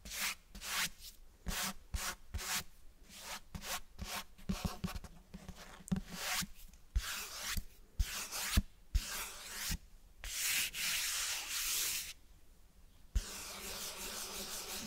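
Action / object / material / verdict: scrape / cloth-covered hardcover book / cloth / none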